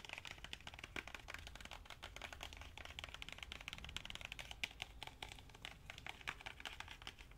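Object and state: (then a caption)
Hardcover book tapped with fingernails. A medium-sized, solid pink hardcover book with paper/cardboard boards and a glossy cover is held in one hand and rapidly tapped with fingernails and fingertips on its cover and spine. The result is a quiet, continuous patter of crisp, dry clicks, bright and sharp with no ring, over a soft low rumble.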